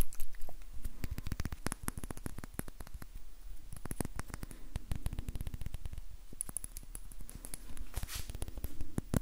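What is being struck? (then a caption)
Small glass bottle with plastic cap. A small glass bottle with a label and a blue-white plastic cap is held in the fingers and tapped quickly with the fingertips and nails. The result is a dense, fast stream of short, sharp clicks and taps with a low thump beneath them.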